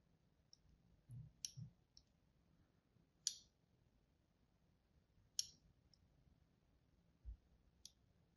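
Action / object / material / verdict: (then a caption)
scrape / bar of soap scored with a blade tip / soap / none. A palm-sized, solid white embossed bar of soap is held in the hand while its surface is scored with a thin blade tip. Four sharp, bright scratching clicks stand out at irregular intervals, with fainter ticks and soft low thumps between them, over a quiet background.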